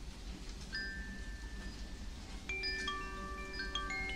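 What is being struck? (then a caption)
Bamboo wind chime. A small, hollow bamboo tube wind chime, held by its string in the fingers, is shaken and swung so its inner clapper strikes the tube. A single bright chime tone rings out first, followed by a denser cluster of overlapping clear, ringing tones centered around 1.2 kHz. The tones decay over about half a second above a steady low background noise.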